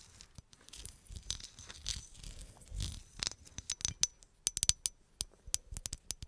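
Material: Glass.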